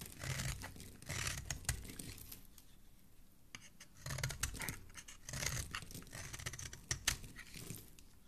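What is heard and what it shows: A metal blade scrapes and shaves the edge of a solid pink soap bar held in one hand, peeling off flaky soap shavings. Dry, crinkly scraping and tearing strokes come in uneven bursts, with bright edges and soft low thuds, separated by quieter stretches.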